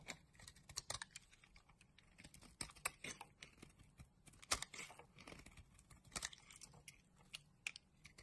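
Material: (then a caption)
Soap. A solid pink soap bar held in the hand has its surface shaved with a flat black blade, sending off curls and crumbs. The sound is a quiet, rapid run of short, crisp scraping ticks, mostly bright and high with little low end. Each scrape stops almost at once, with no ring.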